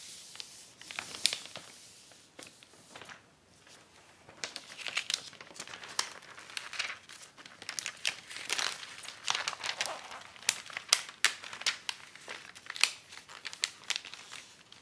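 A long acetate dust jacket protector sheet with a white paper backing and a folded edge along one side lies on a wooden table while fingertips and nails smooth it and run along the crease to fold it. The result is a steady stream of bright, crisp crinkling and sharp plastic crackles with occasional tearing-like swishes, each snap dying away almost instantly and with no low-end weight.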